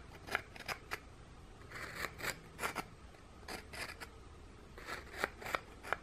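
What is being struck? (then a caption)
Thin ginger biscuit scraped with another biscuit. The edge of one ginger biscuit, held in fingers with painted nails, scrapes across the textured underside of a flat, scalloped, thin ginger biscuit. It makes repeated short, dry, crisp scratching strokes with a gritty, high-pitched rasp. The strokes come in quick clusters separated by brief quiet gaps.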